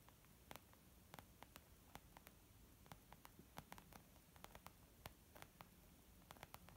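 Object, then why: Small leather zip makeup bag. Long almond-shaped nails of both hands gently tap on a small white textured leather zip makeup bag lying flat, soft and hollow. About 25 light, quick, dry ticks sound at uneven intervals over a quiet, steady low hum and faint hiss. Each tap dies away almost at once.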